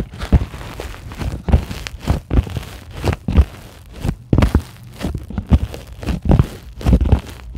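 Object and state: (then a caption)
Polyethylene foam sheet scratched with nails. Long glittery acrylic nails on both hands scratch a flat, solid, white closed-cell polyethylene foam sheet. The result is a run of dull, muffled scraping thumps that are heavy in the low end, with almost no brightness, each stroke dying away quickly.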